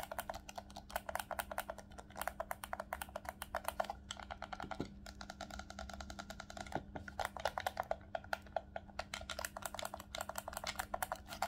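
A black, hollow plastic Nintendo Switch Pro controller is held in both hands while fingertips rapidly tap and click its shoulder buttons and triggers. The result is a fast, dense stream of short, dry plastic clicks with almost no ring, set against a faint steady low hum. The clicking eases briefly around the middle before picking back up.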